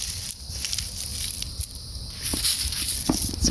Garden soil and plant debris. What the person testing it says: hear how crispy everything is already it's ready to be watered again